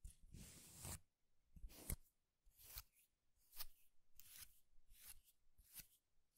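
A tied bundle of thin, dry wooden fibers is held in both hands and squeezed and rubbed with the fingers. It gives a series of dry, crackling rustles, each a short burst of bright crackle over a soft low rumble. The bursts come in roughly regular pulses, with quiet gaps between them.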